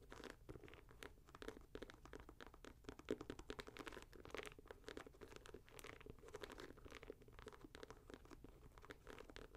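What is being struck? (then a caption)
Synthetic leather and mesh sneaker. A hollow, empty red, grey and white Nike Air Max 90 leather and mesh sneaker is held in the hand while long nails scratch the synthetic leather upper near the laces. The result is a continuous run of quick, dry scratching strokes with a faint crunchy texture, centred in the low-mids with brief bright edges and almost no ring.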